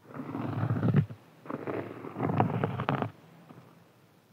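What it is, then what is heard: Cork board. Fingernails of both hands scratch and tap a large, round, flat, solid cork board, giving two bursts of dense, low, muffled rasping with soft taps mixed in. A short pause separates the bursts. After the second one the sound drops to a faint quiet, ending with a light tap.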